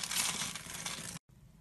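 A red-handled utility blade scores a grid into the surface of a solid, glossy green oval VANDA soap bar held in the palm. It makes a dense, bright, crisp scraping and crunching for just over a second, then cuts to a brief silence and a faint, quiet hiss.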